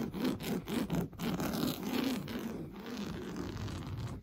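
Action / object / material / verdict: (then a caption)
scrape / coarse woven fabric cushion / woven fabric / none. Fingernails painted blue scratch quickly and aggressively across the orange coarse-weave woven fabric of a stuffed sofa cushion. The result is a dense, rough scratching with low fabric rasp and uneven strokes that are more distinct at first, then blend into a steadier, softer rub.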